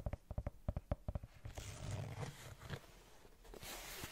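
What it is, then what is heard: Rubber sneaker sole. Long nails scratch the brown rubber sole and rubber edge of a white Converse canvas sneaker. Eleven quick, dull scrapes with a low thud come first, then give way to a longer, continuous rasping scratch with a brighter, hissy edge toward the end.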